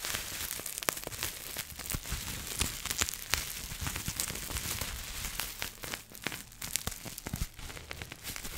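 A small folded piece of clear plastic bubble wrap with air-filled bubbles is held in both hands while long manicured nails scratch and squeeze it. The result is a steady, bright crinkling and scratching texture, dotted with sharp, quick crackling clicks that die away instantly.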